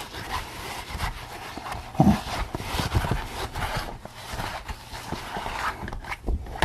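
Fingers scratch and rub the crown between the ears of a pink latex rubber pig mask worn on the head. Steady, dense scratchy rubbing runs throughout over low, muffled thumping, with a louder bump near the two-second mark.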